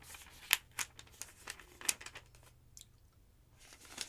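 Thin pages of a large, thick yellow paper phonebook lying open on a wooden table are grabbed by fingertips with long nails and flipped over. Each turn makes a crisp, bright papery crackle and rustle that stops almost at once, repeating irregularly over a soft, quiet background.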